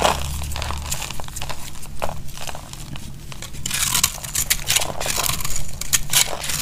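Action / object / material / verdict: scrape / bar soap shaved with a knife / soap / none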